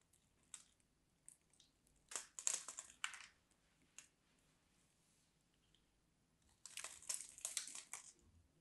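A small craft knife cuts and scrapes the edge of a solid, dry, mint-green and white striped bar of soap held in the hand, shaving off crumbly pieces. Bright, crisp scraping and crunching bursts come in irregular clusters, with a quiet pause in the middle before a final dense run of scrapes.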